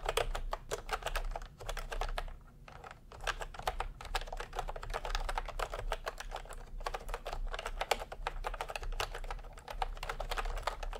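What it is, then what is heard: Plastic round-key keyboard typing. Fingertips type steadily on a plastic retro round-key keyboard, with both hands producing a dense run of short, sharp clicks and clacks. The keystrokes come in quick bursts with brief pauses between them, over a low steady hum underneath.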